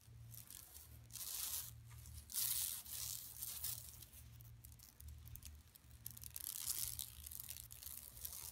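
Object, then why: Woven plastic mesh shopping bag. Long nails of both hands spread over the surface scratch a large, flat, empty yellow woven plastic mesh shopping tote lying on carpet. The result is a continuous bright, crackly rasping that swells into louder bursts and eases off again, with a faint low hum underneath.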